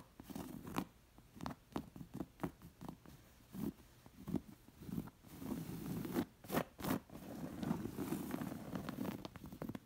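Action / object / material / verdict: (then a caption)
scrape / embroidered cotton round cushion / cotton / none. Long nails scratch the raised embroidery and ruffled fringed edge of a soft, stuffed round embroidered cotton cushion. The result is an uneven run of short, dry, muffled scratching and rustling strokes, dull and low-pitched with no ringing.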